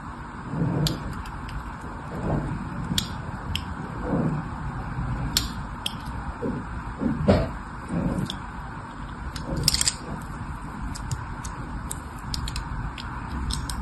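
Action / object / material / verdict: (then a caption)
scrape / bar of soap / soap / none. A solid red bar of soap with a diagonal grid pattern, held in one hand with long manicured nails, is scratched and carved with a fine metal blade or needle tool while other soap bars sit untouched nearby. Soft, dry scraping strokes repeat over a steady low rumble, punctuated by short, crisp, bright ticks as the tip catches the surface.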